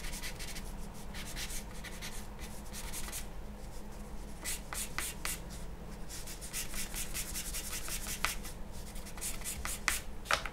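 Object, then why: Charcoal pencil on a sheet of drawing paper. A charcoal pencil held in the hand scratches and strokes across a large flat sheet of white drawing paper lying on a wooden table. Bright, dry scratching bursts come and go over a steady low hum, with some quick, sharper strokes standing out near the end.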